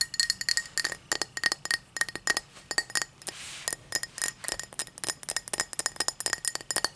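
A tall drinking glass is tapped in a quick, uneven run of bright, glassy clinks with a clear tone near 1.9 kHz and short ring. Midway, a brief soft hiss replaces the taps before the tapping resumes and continues to the end.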